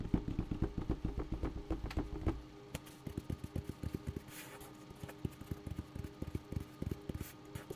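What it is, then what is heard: Bucket tapped. A bucket is tapped repeatedly in quick, uneven succession. It gives dull, low, short knocks with a faint tonal ring, louder in the first couple of seconds and softer afterward.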